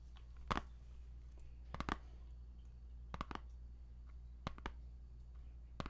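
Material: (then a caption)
Plastic. Fingertips and nails tap and click on the front of a small, hollow plastic CD jewel case for a game soundtrack, held in the hand and still sealed in cellophane shrink wrap. About ten short, dry clicks with a papery crinkle land in loose pairs and clusters with pauses between them. A steady low hum sits underneath.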